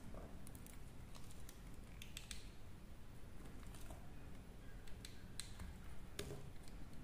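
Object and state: Dry soap bar being carved.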